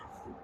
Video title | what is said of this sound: Bus Pretrip Video | You're going to tap the glass. All the glass is securely mounted, not cracked or broken, clean and clear.